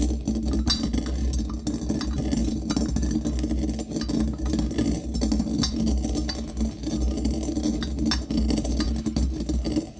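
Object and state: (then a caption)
Brass mortar grinding coffee beans. A brass pestle strikes and grinds against the inside wall and bottom of a small hollow brass mortar held in one hand and partly filled with coffee beans. A steady, dense stream of metallic clinks and crunchy scraping runs over a constant low hum, with bright, short-ringing taps scattered throughout.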